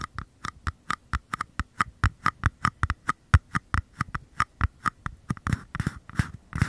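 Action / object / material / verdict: tap / small paper cups / paper / none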